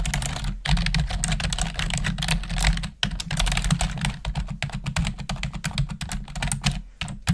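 Long nails and fingertips type rapidly on the keys of a black plastic desktop keyboard, making a dense stream of crisp, bright clicks and clacks. There are brief pauses near the start and around the three-second mark, over a steady low hum.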